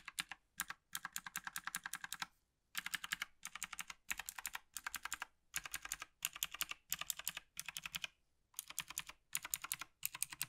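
A single gloved hand taps the keys of a black plastic Logitech G PRO TKL tenkeyless mechanical gaming keyboard with its fingertips, working across the top rows and the right side. Rapid, bright, clicky keystrokes come in quick bursts separated by brief silent pauses, each tap sharp and dry with almost no ring.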